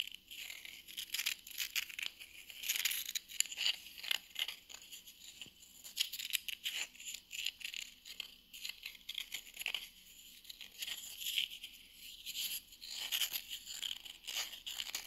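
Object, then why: Small round wooden coaster. Long nails tap and scratch the edge and face of a small, flat, solid round wooden coaster held in the hand. The result is a dense run of quick, dry clicks and scraping rasps, almost entirely bright and high, with no low end and no ring after each touch.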